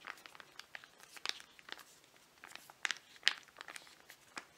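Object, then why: Foil-laminate sachet filled with mud mask. A flat, filled foil-laminate mud mask sachet is turned over in the hands while fingernails tap and scratch its surface. Quiet, irregular, bright crinkly ticks and scratches come in uneven bursts, each dying away almost instantly with no ring.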